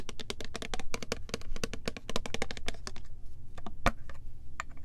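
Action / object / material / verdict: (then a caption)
tap / liquid-filled plastic spray bottle / plastic / none. Long nails tap and scratch rapidly along a clear plastic Love Spell body mist bottle with purple print and a gold pump, filled with liquid, moving over both the body and the pump. The result is a quick, steady stream of short, dry, bright clicks that die away almost instantly, over a soft low rumble, with one sharper tap standing out near the end.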